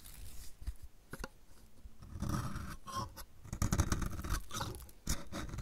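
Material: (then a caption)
Soap. A metal utility blade repeatedly shaves flakes off the edge of a solid, dry, purple striped bar of soap. The result is a run of short, dry scraping and crunching cuts with low thuds and bright crackly edges, getting denser and louder toward the end.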